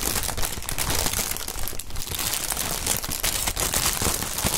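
Gloved fingers squeeze and crumple clear plastic air cushion packaging film with green print and air-filled cells, possibly popping some of the cells. The result is a steady, dense crinkling and crackling with bright, sharp snaps over a low, muffled rumble of handling.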